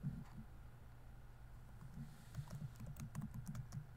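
Fingertips type on a laptop keyboard with plastic keys, producing soft, dull clicks and taps over a faint steady low hum. The keystrokes come sparsely at first, then grow quicker and more frequent in the second half, each one short with a brief bright tick.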